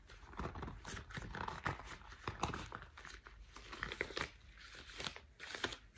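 Thick cream rubber household dishwashing gloves are pulled on and handled, the rubber stretched and rubbed by hands. Quiet, continuous crinkling and squeaky rubbing fill the clip, broken by short snapping and tearing-like bursts of stretched rubber over a low, soft rumble.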